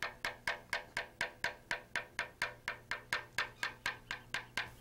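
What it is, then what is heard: Aluminum helicopter rotor blade, tap test. A small metal tap tool held in the fingertips taps along a long aluminum helicopter main rotor blade in a tap test. The blade is a thin, hollow-profile airfoil painted yellow with a green stripe, mounted on the aircraft with its tip resting on a wooden stand. About 21 evenly spaced, bright, hollow clicks sound at roughly two per second, each with a short ring near 1.6 kHz that dies away quickly.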